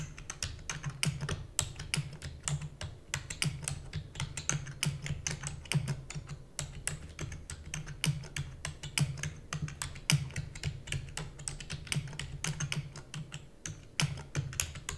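Fingertips with long natural nails rapidly press the keys of a black full-size plastic computer keyboard with hollow key housing, typing. A fast stream of short, sharp, bright clicks with quick, dry decay runs over a steady low hum.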